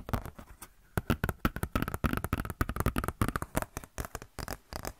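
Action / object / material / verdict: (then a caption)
scrape / glossy paper catalog booklet / paper / none. Long nails and fingertips scratch and flex a glossy paper Blizzard Shop catalog booklet, making a rapid string of short, dry crinkles and scratches. The bursts are brief and quick-decaying, with weight in the low end, and they come in irregular flurries with a few quiet gaps.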